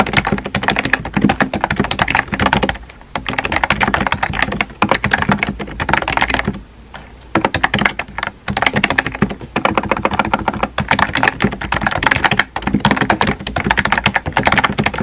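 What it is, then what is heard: Plastic keyboard with round keycaps. Fingertips type rapidly on a small pink and white plastic keyboard with round plastic keycaps and a hollow body. The dense, clicky taps have a short, hollow sound, and the bursts of typing are broken by brief pauses.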